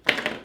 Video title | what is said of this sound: US MRE 1991 Menu 2 Corned Beef Hash with Fernbark! | our good old crackers are sealed really well bam they sound good